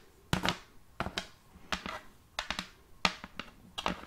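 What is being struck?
Large round wooden plate.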